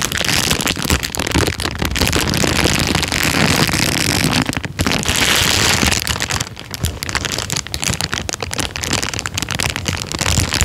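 An empty, thin, clear plastic bag is lifted and crinkled between the fingertips. It makes a dense, steady crackling rustle that is bright and hissy, with some low handling rumble underneath. The crinkling continues almost without pause and dips slightly in loudness partway through.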